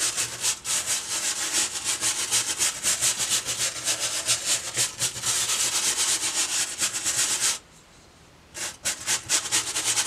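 A boar-bristle hair brush, held by its handle, is brushed back and forth across the textured surface of a white foam sheet. The strokes make a rapid, bright, scratchy rubbing, about four per second. The brushing stops for about a second near the end, then starts again.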